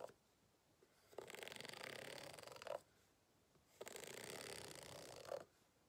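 A white plastic fork is scraped along the ribbed texture of a green rubber hot water bottle lying flat, hollow and apparently empty. Two long, bright, raspy scraping strokes are heard, each made of fast rattling ridge clicks and ending in a brief sharper tick, with quiet pauses between them.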